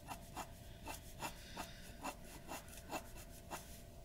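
A glass dip pen nib scratches repeated ink strokes across a white paper sheet resting on a wooden desk. Nine short, dry scratching strokes sound at a steady pace, each a brief bright rasp over a quiet, low background with a faint steady tone near 650 Hz.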